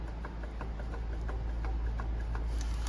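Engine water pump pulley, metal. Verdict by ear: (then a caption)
Loose. With the belt off, the metal water pump pulley on a Toyota RAV4 engine is shaken by hand, producing a series of light, quick clicking rattles over a low steady hum. The pump has bearing play, and this looseness is the cause of the engine rattle, so the water pump needs replacing.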